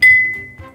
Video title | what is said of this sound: 겉절이 어렵지 않아요! 만능양념장과 함께라면 봄나물 완전정복~ | こうして叩くとこんな澄んだ音もするんです